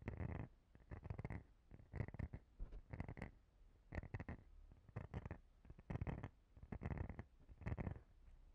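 Long painted fingernails scratch across the rounded nubs of a palm-sized, clear plastic cellulite body brush and tap its edge. Quiet, rough scratching bursts come about once a second, mostly low and rumbly with a faint bright edge, and each stops short with no ring.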